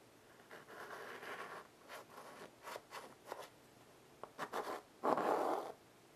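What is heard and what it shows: White chalk held in the fingertips draws and scratches lines across a small wood-framed blackboard resting on carpet. A long scratchy stroke is followed by a series of short, dry rasping strokes, ending in a louder, harsher final scrape, with quiet gaps in between.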